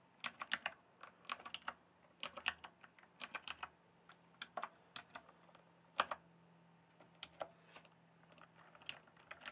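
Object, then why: Plastic mechanical computer keyboard. Fingertips type and tap on a full-size RGB-backlit plastic mechanical computer keyboard, with hollow keys on a solid base. Quick bursts of sharp, bright, clicky keystrokes stop almost instantly, separated by short pauses. A faint, steady low hum runs underneath.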